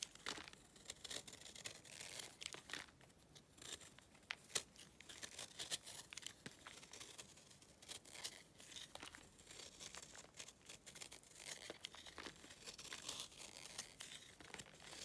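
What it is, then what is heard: Dry clay chunk. A knife repeatedly scrapes a solid, pale block of dry clay, leaving crumbly, flaky ridges. The scraping makes quiet, dry, bright crackling and crumbling strokes with little low end, each stroke dying away almost instantly, in a steady busy stream throughout.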